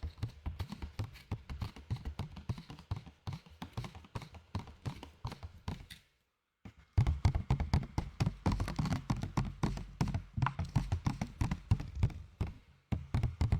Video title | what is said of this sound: ASMR Tapping sur des Objets ALÉATOIRE ! | C'est pas le meilleur plastique que j'ai vu. Avec des gobelets, c'est bien mieux.